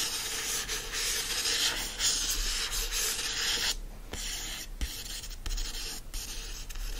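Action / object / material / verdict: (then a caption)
scrape / hardcover book with printed cover / cardboard / none. Fingernails scratch and trace the printed illustration and lettering on the cover of a yellow hardcover book lying flat. A dry, bright, hissy scratching runs almost continuously, broken by a brief pause near the middle and a few short gaps, with a faint low hum underneath.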